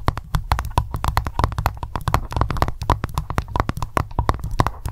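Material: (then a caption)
Wax. Long nails tap fast on the top surface of solid white candle wax in an open glass jar. The result is a rapid, steady run of short, dry clicks with a dull low thump under each one and almost no ring.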